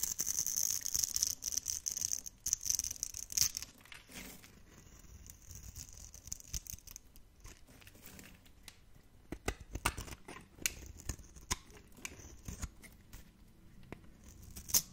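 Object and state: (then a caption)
Dry bar soap. A metal blade carves and scrapes cubes off a solid, dry, dark blue bar of soap held in the hand. The first few seconds are a dense, bright scraping with a steady high whine. It then thins out into quieter, scattered crisp crunches and clicks.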